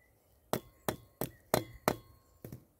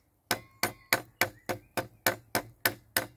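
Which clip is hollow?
The first.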